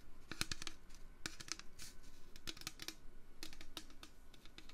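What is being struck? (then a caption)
Metal can. A metal can is tapped with the fingers in a steady, irregular run of quick, light taps. Each tap gives a short, bright click that dies away at once, over a soft low hum.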